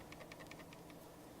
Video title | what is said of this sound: Re Review Logitech G303 G402 and G502 Spectrum | rattles loudly when tapping it and this sound while shaking it - even with the scroll wheel held in